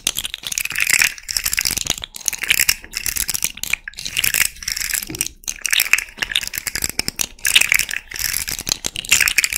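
A small rainbow fidget slug toy made of hollow, jointed hard-plastic segments is held close to the mic while long red nails scratch and tap along the segments and flex the joints. Bursts of dry, bright, ratcheting rattle clicks come in quick clusters with short pauses between, each click dying away almost instantly.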